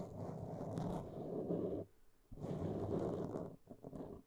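A black foam windscreen on a microphone is scratched with the long nail tips of both hands. This produces a dense, low, rustling scrape in two long bursts separated by a brief pause. The second burst breaks into shorter scratches near the end.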